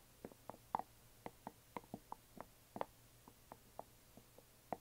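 A closed, hollow yellow glitter resin or plastic coffin box lying flat is gently tapped on its sides with long nails. The result is a quick, irregular series of soft, dry clicks with a mid-range hollow tone and almost no ring, set against a faint low hum.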